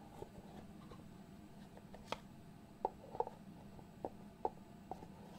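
Fingertips tap and slide the lid of a small, hollow white cardboard box held in the hands. A quiet series of soft, dull, hollow taps with a mid-pitched knock stands out against a faint low hum, with light scraping between them. Each tap dies away almost at once.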